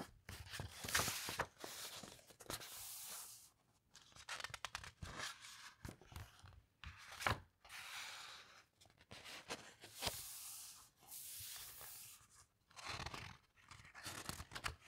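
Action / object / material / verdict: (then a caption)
scrape / large book with heavy glossy paper pages / paper / none. Hands with long nails turn a page of a large open coffee table book with heavyweight glossy paper, then fingertips stroke and slide across the printed pages. The quiet, bright paper sounds come as soft rustling swishes and crisp crinkles, with brief sharper rasps and short pauses between strokes.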